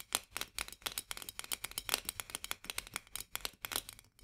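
Long nails rapidly tap and then scratch the rim of a white metal lid on a full glass jar. The result is a quick, uneven run of sharp, bright clicks with almost no low end, each dying away almost instantly, over a faint scratchy rasp.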